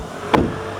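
A car door on an iCar V23 is closed once, giving a single solid thump centered in the low-mids with a short, damped decay. It is judged by ear to sound solid, over a steady background hum.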